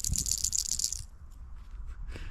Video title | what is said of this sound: I'm Back! (and outside) | these seed capsules over here, it's like a rattlesnake's tail